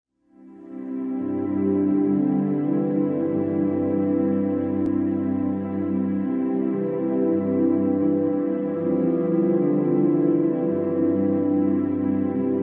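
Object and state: Nothing is struck.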